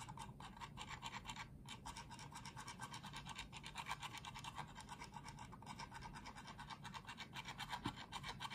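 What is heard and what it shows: Fingertips and nails scratch and rub across the top shell of a small, hollow, pink-and-white plastic wireless mouse with a cartoon decal, resting on a dark desk under one hand. A quick, uneven run of dry, raspy strokes, about four per second, gives a bright scratchy texture over a soft low rumble. A few sharper ticks, possibly button clicks, stand out near the end.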